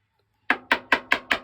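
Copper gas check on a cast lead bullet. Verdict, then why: Seated. A copper gas check is tapped onto a cast lead bullet with five quick, sharp taps, each a bright, woody knock that dies away fast. The tone changes across the taps, showing the check is fully seated, much like a nail changes tone once it is fully driven.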